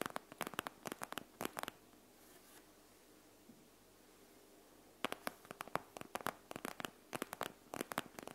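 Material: Plastic.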